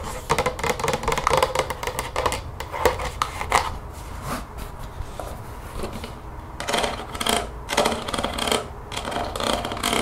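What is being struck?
Plastic spray bottle, partly filled.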